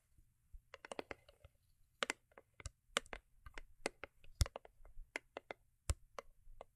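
Long acrylic nails tap and scratch the sides and top of a small, hollow, cube-shaped rigid cardboard gift box covered in holographic foil paper and resting on faux fur. Quick, dry clicks land in uneven bursts, each dying away almost instantly over a faint low hum.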